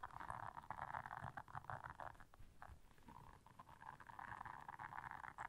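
Long nails scratch across the bristles of a blue silicone bristle scrubber pad, making a dense, continuous rasping texture centered in the midrange. The scratching swells and fades in uneven bursts with a soft low rumble underneath, dipping briefly near the middle before picking back up.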